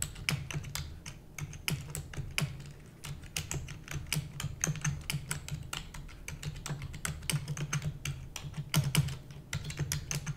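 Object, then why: Plastic computer keyboard. A full-size black plastic computer keyboard with hollow keys is typed rapidly using the long nails and fingertips of both hands. Dense, bright clicking keystrokes overlap in quick bursts above a steady low hum, with no talking.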